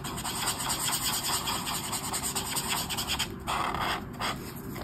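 A brush marker rubs strokes along the edge of a mandala on a flat white page of a paper colouring book. It makes a steady, bright, scratchy rubbing hiss with short dips between strokes, including a brief pause near the end.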